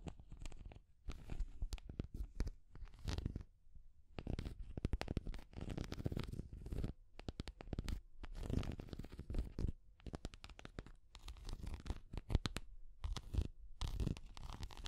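Long grey nails scratch the head and body of a small orange translucent plastic cat figure held in the hand. Quiet bursts of dense, rapid scratching and crackling, mostly low and rumbly, come and go with short pauses between them.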